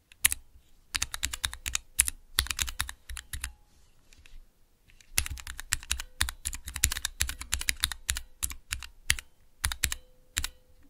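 Fingertips rapidly type on the clear plastic keycaps of a small square Cherry MX mechanical keyboard switch tester, producing quick bursts of bright, crisp clacks with a low thock beneath each press. The clicks come in fast flurries, pause briefly near the middle, then resume in another burst of rapid keystrokes.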